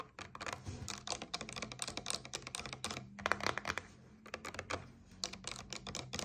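Long nails tap quickly on a paperboard coconut water carton lying on its side, making rapid, dry, clicky taps with bright edges and almost no ring. The tapping runs in quick bursts with a short pause near the middle, over a faint steady low hum.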